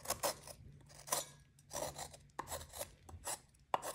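A metal knife scrapes and cuts pieces off a solid white, partly shaved magnesium carbonate gym chalk block held over a glass bowl. It makes a series of short, dry, bright scratching rasps with brief crisp ticks and little low end, each stroke dying away quickly.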